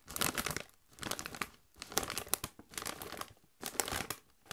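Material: Metallized plastic.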